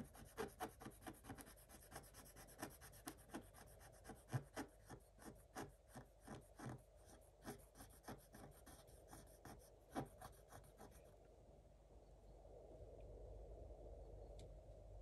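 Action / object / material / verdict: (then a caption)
scrape / coated scratch-art paper scratched with a wooden stylus / coated paper / none. A thin wooden stylus scratches back and forth across a black coated scratch-art page in a spiral book, revealing pink beneath. About 29 dry, rasping strokes come in quick succession for roughly eleven seconds. Then the scratching fades into a softer, steady rubbing hiss.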